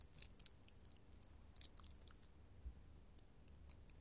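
A small, empty, clear hollow glass hobnail candle holder held in the palm is tapped with long gold metal finger claws. The result is a series of quiet, irregular, bright glassy clinks with a high, sustained ringing tone and soft scratchy contact noise between taps.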